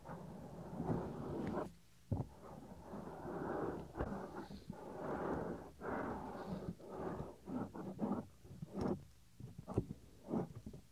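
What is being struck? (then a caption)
Silicone ear cover of a binaural microphone. Fingertips pinch and rub the small, solid, white soft silicone ear cover on a 3Dio binaural microphone. The result is close, muffled rubbing and rustling heavy in the low and mid range, broken by short gaps and sharp, dry pops and clicks.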